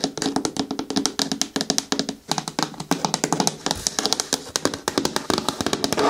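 Long nails tap rapidly on the sides and the corner near the handle of a hollow green hard plastic bin with a lid. The result is a dense run of short, dry, bright clicks with little low end that die away almost instantly.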